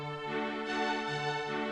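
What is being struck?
Nothing is struck.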